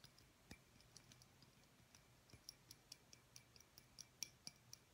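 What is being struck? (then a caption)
Small glass light bulb tapped with fingertips and nails. A small, clear, hollow glass light bulb with a visible filament is held upright between both hands and tapped with the fingertips and nails. The result is a quiet, rapid, uneven series of short, dry clicks, with a bright, high glassy ping on the sharper taps that dies away almost at once.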